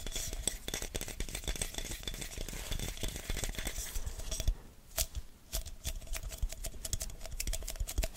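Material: Glass.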